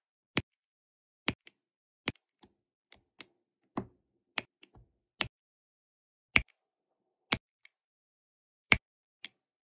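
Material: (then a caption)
Resin. A hand with long nails uses a pink plastic drill pen to tap resin drills onto an adhesive diamond painting canvas. Sharp, bright, very short ticks come at an unhurried, irregular pace, with fainter soft taps and clicks in between. The sound is quiet, with little low end.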